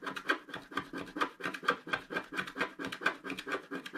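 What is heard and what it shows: A wooden stylus stick scratches across the lower part of a flat, black-coated scratch art paper sheet. A quick, somewhat uneven run of short, dry scratching strokes comes at roughly two per second. Each has a bright, papery rasp centered in the upper mids, and there is almost no low end.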